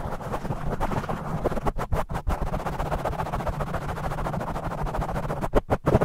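Both hands scratch and tap fast with their fingertips on a black foam microphone windscreen, with the audio sped up 2x. The result is a dense, muffled, low rumbling crackle of rapid scrapes and thumps with almost nothing bright, broken by a few brief near-silent gaps near the two-second mark and just before the end.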